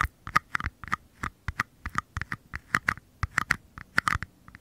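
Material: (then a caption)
Paper. Fingertips tap and scratch the flat bottoms of two identical small, empty mini paper cups held facing the mic. About twenty quick, dry taps land in an uneven rhythm, each with a hollow papery tone near 1.2 kHz that dies away instantly, with faint scratching between them.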